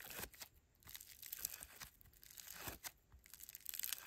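Grey foam bead slime (floam) is stretched into a long strand by bare fingers, then squeezed and kneaded. Quiet, bright crackling and crinkling pops come from the beads in uneven bursts, with soft tearing sounds as the strand pulls apart.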